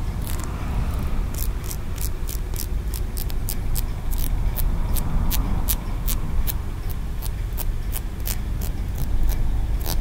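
A small, solid green aventurine stone pagoda figurine with stacked tiers is held in one hand while the fingertips and nails of the other hand tap and scratch along its ridges. Quick, bright clicks and light scraping repeat steadily over a constant low rumble, each tap dying away almost instantly.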